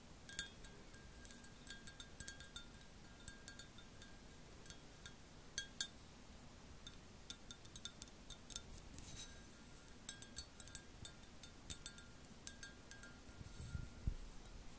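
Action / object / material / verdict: tap / glazed ceramic mug / ceramic / none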